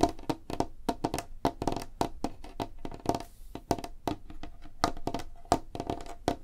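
Long fingernails of both hands tap fast on a large, flat, solid light-wood tabletop, making a quick stream of sharp, dry clicks with a faint hollow tone near 690 Hz. Each tap stops almost instantly, leaving a busy, uneven rhythm of crisp knocks.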